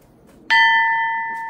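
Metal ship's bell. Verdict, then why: Uncracked. A small, heavy metal ship's bell, said to come from HMS Hood, is struck once with an old nut because its clapper is missing. It gives a single clear, bright ring of steady tones that sustains and fades slowly across the clip, showing the bell is not cracked.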